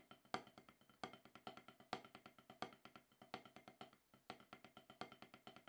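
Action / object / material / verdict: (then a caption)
tap / rubber drum practice pad struck with wooden sticks / rubber / none. Two wooden drumsticks tap a solid, octagonal HQ rubber snare practice pad with a dark surface, playing about forty dry, short-decaying taps in a loose, uneven rhythm. Each tap is a clicky, woody knock centred around 750 Hz with a bright edge, and periodic louder accents stand out from softer strokes.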